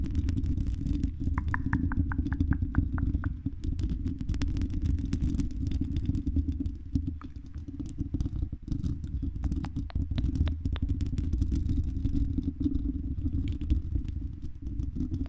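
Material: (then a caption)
Metal mesh. Long red acrylic nails on both hands scratch and tap the silver mesh metal grille of a medium-sized, hollow dome condenser microphone. A dense, continuous low rumble of scratching fills the clip, with quick, dry taps throughout and a short run of light ringing pings near the start.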